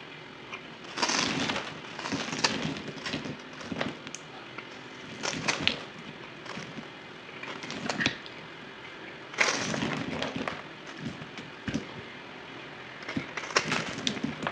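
A solid white bar of soap held in the hand is cut and scraped with a utility knife blade, played back at 2x speed. Bursts of crisp, dry crackling and scraping come in uneven waves, bright and gritty with sharp little snaps and almost no ring.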